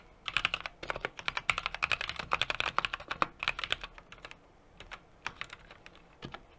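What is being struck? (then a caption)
Mechanical keyboard with aluminum case and plastic keycaps. Fingertips type continuously on a small 60% mechanical keyboard with an aluminum case, brass plate and plastic keycaps. Rapid, crisp, bright key clacks centered around 2 kHz come in dense bursts with very short decay, then thin out to sparser taps after about four seconds.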